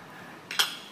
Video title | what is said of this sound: (3) Jalan Musa - Pdt. Jadi S. Lima - GRII KG | tutup ini yang terbuat dari metal e bergerak dengan kecepatan tertentu lalu membentur permukaan yang keras